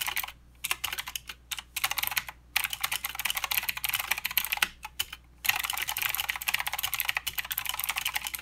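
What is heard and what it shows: A mechanical keyboard with plastic keycaps and blue switches is typed on with the fingertips of both hands. It gives a rapid stream of sharp, bright clicks with short pauses near the start, the middle and around five seconds. Typing then runs steady and dense to the end.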